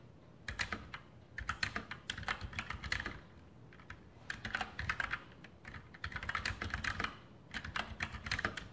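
Fingertips type continuously on a full-size RGB Sharpshooter X2000 mechanical keyboard with Outemu brown switches and plastic keycaps on a metal top plate. Quick bursts of sharp, bright clacks come in runs separated by brief pauses, with a low thock under each press.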